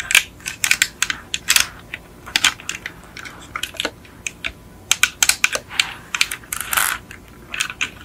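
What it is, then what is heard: Die-cast metal toy car. A small yellow die-cast Beetle model car with a hollow painted metal body is tilted in the hands while long acrylic nails tap and scratch over it. A rapid, irregular series of sharp, bright clicks and short scratchy bursts is heard, with almost no low end and each tap dying away almost instantly.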